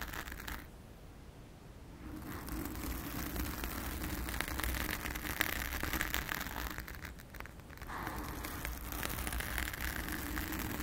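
Long acrylic nails on both hands scratch a blue foam cover on a round studio microphone, making a dense, crackly, rustling scrape with a strong low rumble and a bright hiss. The scratching runs steadily, thins out briefly near the start and again around the seven-second mark, then resumes.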